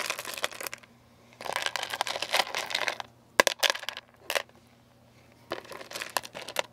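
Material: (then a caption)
Candy, plastic. Fingertips wearing rings stir and sift through small, hard, sugar-shelled candies (jelly beans and coated chocolates) in a large clear plastic food container about half full. The candies make dense bursts of bright, dry clicking and rattling as they knock against each other and the plastic walls, separated by short quiet pauses, with one sharper knock near the middle.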